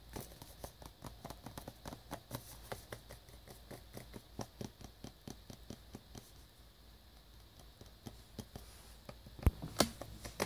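A small black cardboard box for wireless earbuds, shrink-wrapped in clear plastic, hollow and apparently still holding the product, is held in the hands and tapped with fingertips and short nails. The result is quick, irregular, dry taps with a crisp plastic tick over a low cardboard thud. A few sharper, louder taps come near the end.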